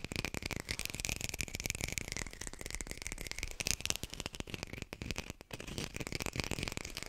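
A textured artificial plastic lime is tapped quickly with a high-fidelity microphone close by. The result is a steady stream of rapid, dry, clicky taps with very short decay and a bright, rattling edge, plus a faint low thump under each tap.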